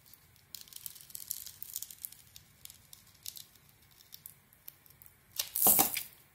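A solid green bar of soap with a sugary, glittery crust, held in hand, as a metal blade scrapes and cuts into the crust. Quiet, bright, crackling scrapes and crinkles repeat for about five seconds. Near the end comes a louder, longer cut with a broad, bright crunch that fades quickly.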